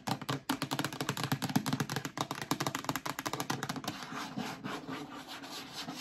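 Long nails tap rapidly on the sides and base of a hollow, empty yellow plastic storage bin, making a quick run of dry, hollow clicks. After about four seconds the tapping loosens into softer, scratchy rubbing across the plastic, with each sound dying away almost at once.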